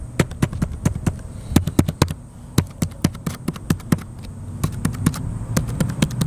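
Fingertips type continuously on the plastic keys of a small blue plastic laptop resting on a metal picnic table outdoors. The result is a steady stream of short, sharp clacks with a hollow, low thump from the chassis, over a faint high hum.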